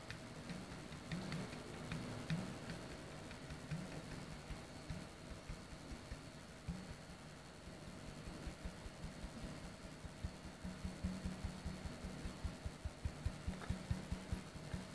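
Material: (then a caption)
Plastic. An empty-looking clear frosted plastic soda bottle, hollow with an open neck and no cap, is held and then stood upright while fingertips and a flat hand tap near its top. The result is a quiet, loosely rhythmic run of soft, low, hollow taps with very short decay. The taps grow sharper and more distinct toward the end over a faint steady hum.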